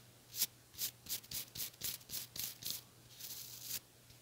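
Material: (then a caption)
Plastic. Long nails strum the white plastic bristles of a small white plastic hair brush with a teal handle. The result is a series of short, bright, crackly bursts, ending in a longer continuous scratch before it stops.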